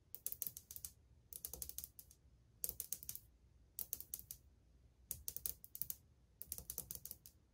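Long painted fingernails and fingertips tap on old glazed ceramic subway tiles set flat and solid on a wall. Six quick bursts of crisp, bright clicks sound like fast typing, each tap dying away almost at once with only a faint low thump beneath.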